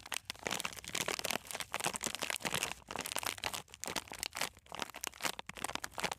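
A sealed plastic-film snack bag full of coated peanuts is held horizontally in both hands and squeezed and rubbed with fingertips and nails. It gives a dense, bright crinkling with crunchy crackles in overlapping bursts. The sound rises and falls in waves with brief gaps between them.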